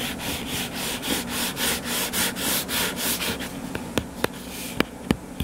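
Fingertips and nails scratch the cover of a closed, solid hardcover book lying flat on a table, making a steady run of rhythmic, bright rubbing strokes. The scratching then thins out and four sharp, clicky taps stand out near the end.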